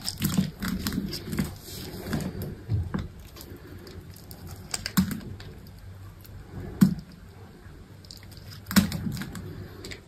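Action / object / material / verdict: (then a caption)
scrape / bar of soap / soap / none. A utility knife blade shaves and scrapes the surface of a solid green bar of soap held in one hand with long pink nails, so flakes and small cubes fall off. Irregular soft scraping and crackling fills the clip, heaviest at the start, with a few sharper crisp snaps standing out later.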